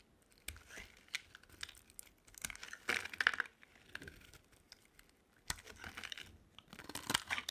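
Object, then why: Bar of soap. A utility knife blade carves long curls from a solid oval pink bar of dry soap held in the hand. Quiet, crisp scraping and crackling strokes come in short bursts with brief pauses, bright and thin with almost no low end.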